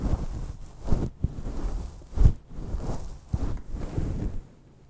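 Long light-blue painted nails scratch a fist-sized, soft, fluffy grey synthetic fur windscreen on a microphone. The sound is a deep, muffled, rumbling rustle in uneven bursts, with almost no high-frequency content, and it fades to near silence at the end.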